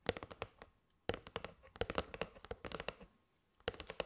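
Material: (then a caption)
Cardboard. Long nails tap on the side edge and face of a kraft cardboard box of paper straws. They make three quick bursts of rapid, dry clicks with a hollow midrange tone and bright nail ticks. Each tap dies away almost at once, and the bursts are separated by short pauses.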